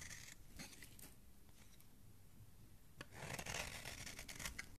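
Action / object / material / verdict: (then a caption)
scrape / bar of soap scraped with a knife blade / soap / none. A metal knife blade scrapes continuously along the edge of a solid oval green soap bar held in the hand, shaving off soap flakes. Soft, bright scraping and rasping come in short strokes at first, ease into a quieter stretch, then grow louder and denser from about three seconds until the clip cuts off.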